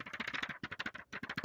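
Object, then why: Paper comic book. A paper Juggernaut #1 comic book, a thicker $7 issue, is tapped repeatedly. It produces a quick series of dry, papery taps with bright mid-high clicks, each dying away almost instantly, with one short pause near the end.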